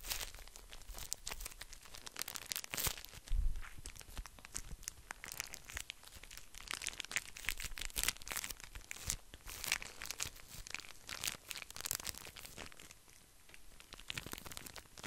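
A small pocket pack of tissues in a thin plastic wrapper is squeezed and rubbed with fingertips. The result is a continuous, dense crinkling with sharp, bright crackles and a low thump near three and a half seconds.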